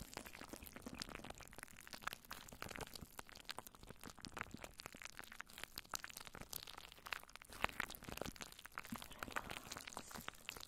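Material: Plastic film.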